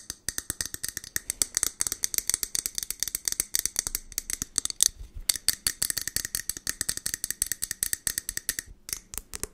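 Long nails tap quickly on the sides of a medium, partly filled clear glass jar with a lid and label. About 69 sharp, bright clicks follow in a rapid, uneven stream, each dying almost instantly, with very little low end. There is a brief pause near the end before the tapping resumes.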